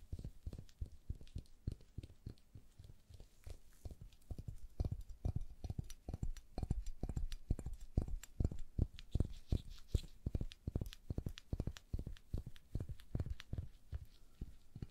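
A hand-sized, hollow white rubber duck toy with a yellow beak is held in gloved hands and tapped and scratched with long nails. The result is a fast, steady run of short, dull, low-pitched knocks with almost no ring, mixed with faint, bright scratching.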